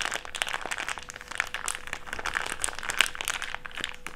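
A crumpled wad of an empty, thick, clear plastic bag is squeezed and rolled in the hands. It makes a continuous, dense stream of bright crinkles and sharp crackles with little low end, plus a faint steady hum near 500 Hz underneath.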